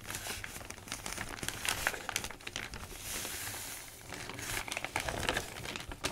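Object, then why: Newsprint newspaper sheets. Sheets of an open newsprint newspaper are lifted and crinkled, then pressed and rubbed flat with the fingertips. Dense, bright crinkling and crackling comes in quick bursts over a soft, continuous papery rustle, with a smoother rubbing stretch in the middle.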